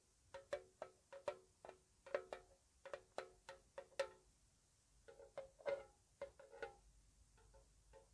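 A small, hollow, square white-painted metal tea tin with its lid on is tapped with long nails about 20 times in a slow, soft, irregular rhythm, with a brief pause midway. Each tap is a quiet, short tinny tick with a hollow tone around 570 Hz that dies away almost at once.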